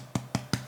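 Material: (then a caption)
Bread. Three hollow taps on the base of a baked gluten-free bread roll, each a short, dull thump that fades quickly. The hollow sound shows the roll is baked all the way through.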